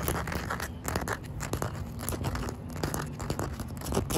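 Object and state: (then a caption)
Wet concrete slab. Short white nails tap and scratch across a solid, damp outdoor concrete pavement slab with a joint. The sound is a dense run of dry, crunchy scrapes broken by quick, dull taps. Most of the energy sits low, and each tap dies away almost immediately.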